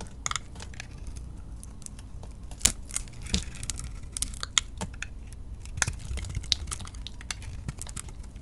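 A utility knife blade shaves the surface off a solid soap bar with a glittery blue-yellow coating and a lilac interior, held in the hand. Crisp, crackly scrapes and sharp bright ticks come in irregular bursts over a low, steady rumble, each snapping off quickly with almost no ring.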